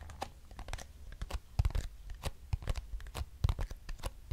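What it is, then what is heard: Cardboard box. Long nails tap and scratch a small, hollow, square lavender-grey cardboard box with printed text. Irregular, sharp, dry clicks and papery scratching bursts come with a dull, hollow low thump, and each sound stops at once with no ring.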